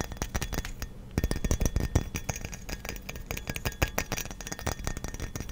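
A hollow frosted glass light bulb is held close to the microphone and tapped with fingernails and fingertips on both the glass and the metal base. The result is a quick, uneven stream of short, dry clinks and ticks with bright edges, over a soft low thump from the close taps. Each tap dies away almost at once.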